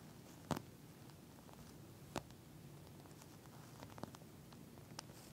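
Long nails on both hands tap and scratch the surface of a pink flat eye mask, a clear plastic shell filled with small gel beads. Quiet, soft scratching and faint crinkly rustle run throughout, broken by a few short, sharp clicky taps at irregular intervals. Each tap ends almost instantly.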